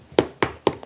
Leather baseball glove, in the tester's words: 이게 그 딱딱한 소리 들리시나요